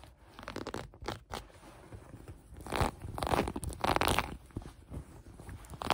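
Long nails scratch the light gray cotton elastic waistband and fabric of a pair of sweatpants, producing soft, dry, crunchy rasping strokes. The scratches swell into louder, brighter bursts in the middle of the clip, then settle back to quieter scraping.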